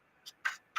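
Knuckles knock on a plastic folding vending table, giving three light, short ticks. The first is faint and high. The second is the loudest with a bright, mid-high click around 1.5 kHz. The last is cut short at the end.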